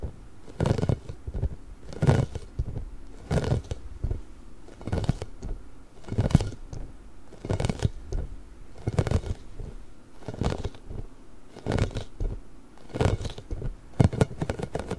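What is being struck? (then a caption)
Inflated rubber spiky ball. A large, pink, hollow, inflated rubber ball with nubs is rubbed and scratched with fingertips and nails. This produces a steady series of soft, dull scraping and crackling bursts, each about a second long, heavy in the low end with faint brighter scratchy edges.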